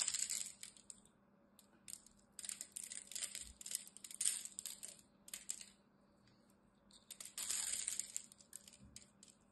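A solid green rectangular bar of soap is held in one hand and carved with a utility knife blade, scraping and cutting its surface so small soap flakes chip off. Bursts of crisp, bright scratching and crackling come in uneven bursts with short quiet gaps, with almost no low end.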